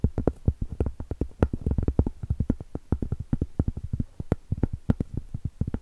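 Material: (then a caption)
Cork. Cork is tapped in a rapid, uneven series of short, dull knocks. Each tap is low and muffled, with almost no high-frequency brightness, and dies away almost instantly.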